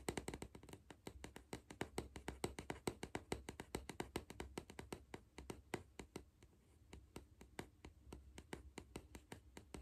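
A hollow green cardboard Pringles crisp tube, held in one hand, is tapped on its side by the fingertips and nails of the other hand. Dozens of quick, dry, hollow taps run steadily, each with a short mid-pitched knock that dies away almost at once.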